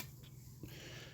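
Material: Nothing is struck.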